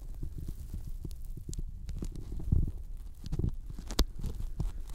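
Fingertips tap along the top edge of a thin white closed-cell polyethylene foam sheet that is bent and laid over the microphones. The result is a stream of soft, muffled, low thumps with very short decay and faint sticky, crackly clicks, a few taps landing noticeably harder than the rest.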